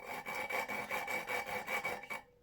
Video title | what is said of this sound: 😥LA CULASSE!! DANS QUELLE ÉTAT EST ELLE? épisode 3 | ça chante bien. Ça, c'est quand tu attaques du coup avec l'épaisse